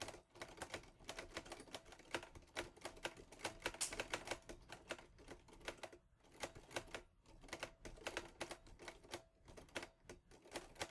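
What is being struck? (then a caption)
Metal-bodied portable typewriter. A teal metal-bodied Olivetti Lettera 22 portable typewriter with paper loaded is typed on in quick strokes by fingertips with painted nails. The typebars clack in dense, sharp, bright strikes with a steady mid-range knock and very short ring, pausing briefly near the middle before the typing resumes.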